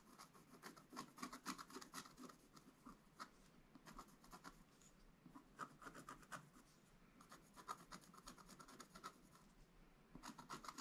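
A wooden stylus scratches lines into a flat, black-coated scratch-art card page. Dry, raspy scratching strokes come in quick, irregular bursts of about four per second with a bright, papery edge. The scratching stays soft and close throughout.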